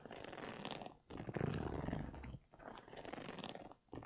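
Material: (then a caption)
Knit, rubber. An empty grey Yeezy 350 V2 sneaker with an orange stripe, a Primeknit upper and a rubber-encased sole is held up while fingers and nails scratch across its sole and upper. The result is a dense, low-weighted scratching and rustling, with rough, rapid strokes running in bursts separated by brief quiet gaps.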